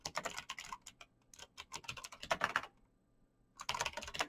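Fingertips in fingerless knit gloves type fast on a black plastic mechanical gaming keyboard with clicky green switches, backlit keys and a hollow case. Quick, bright, clacky key taps come in rapid bursts, with a brief quiet pause of about a second before the typing resumes.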